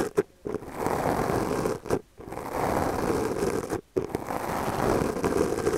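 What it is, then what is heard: Foam microphone windscreen being brushed. The bristles of a small purple plastic brush, held in the fingers, brush and scratch a black foam windscreen on a microphone held in the other hand. A brief tick comes first, then three long, dense, rasping scratchy passes separated by short silences. The sound sits mostly in the low-mids, muffled and close, with almost no bright top.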